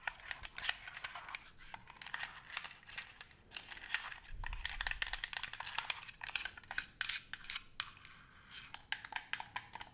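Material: Plastic.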